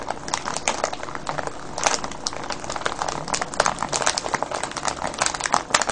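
Hands squeeze and crinkle a clear cellophane bag full of foil-wrapped candies. It makes a steady, dense run of bright, sharp crackles and crinkles over six seconds, with little low end.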